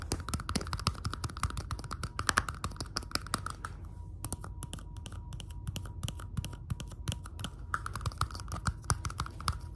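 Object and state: Clear plastic cup tapped with fingernails.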